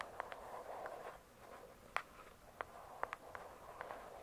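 Long nails tap and scratch the glossy cover of a "True Crime" hardcover book. Soft, quiet scratching hisses along the cover, broken by sharp, bright little taps that die away almost instantly.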